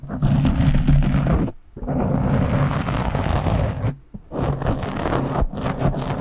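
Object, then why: Foam microphone windscreen. Short nails scratch the top of a black foam windscreen on a microphone, producing loud, rough, low-heavy scraping with a rumbling, roar-like texture. The scratching runs in continuous bursts broken by two brief pauses.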